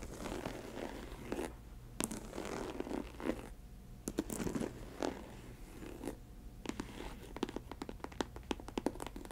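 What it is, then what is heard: Faux leather ankle boot, scratched and tapped. Long nails scratch and tap the upper of an empty snakeskin-print faux leather ankle boot with a studded trim. Dry, rasping scratches alternate with quiet pauses, then give way to a quick run of sharp, clicky taps.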